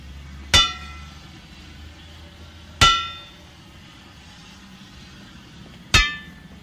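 A steel steam locomotive wheel is struck three times with a control hammer at uneven intervals. Each blow gives a bright, ringing metallic clang centred around 1.3 kHz with high overtones that fades within a fraction of a second, over a faint low background rumble.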